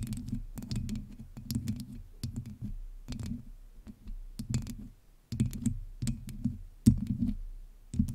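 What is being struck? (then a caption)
Metal mesh microphone grille. Long nails of both hands scratch and tap the hollow metal mesh head of a black USB microphone. The sound comes in quick scratchy bursts with a close, boomy low rumble and faint bright ticks. Short pauses separate the bursts, and each dies away almost at once.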